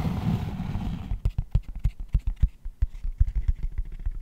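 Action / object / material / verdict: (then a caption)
tap / cork tray / cork / none. A long, hollow cork tray is turned in the hands, giving about a second of low, muffled handling rustle. Fingertips then tap the cork inside and on its underside in a quick, uneven run of dull, deep thuds that stop short with no ring.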